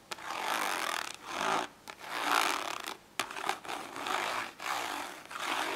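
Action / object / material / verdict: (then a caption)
scrape / ridged plastic storage case / plastic / none. Long nails scratch and tap the textured, ridged lid of a small, hollow, glossy orange plastic storage case lying flat on paper. Bursts of broadband scratching rise and fade in waves, broken by a few sharp taps.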